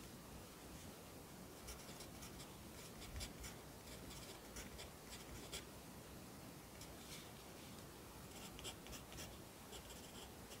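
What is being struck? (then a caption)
Graphite pencil on a lined paper notebook page. A yellow wooden pencil held in the fingers writes across the page of an open lined paper notebook lying flat on a desk. Quiet, steady graphite scratching on paper is heard, with short bright strokes rising over a soft low rumble.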